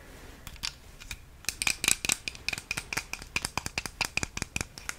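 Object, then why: Small plastic travel plug adapter. A small, hollow white plastic travel plug adapter is held in both hands close to the microphone while long manicured nails tap and scratch its casing. The result is a rapid series of sharp, dry, bright clicks with a ringing tone near 2.4 kHz. The clicks die away almost instantly over a quiet background.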